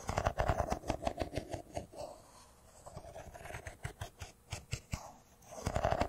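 A solid, hand-sized silver smartphone with a metal-and-glass body is held in the hands and tapped and scratched with fingernails. Quick, irregular dry clicks come in dense bursts at the start and end, with softer scratching and scattered taps in between. Each tap stops short with no ring.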